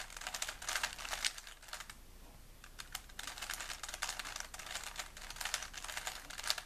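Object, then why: Plastic puzzle cube. A small solid plastic 3x3 Rubik's cube is held in both hands while fingertips rapidly twist its layers. Bursts of quick, bright plastic clicking and rubbing follow one another, with a brief quieter pause partway through before the turning picks up again.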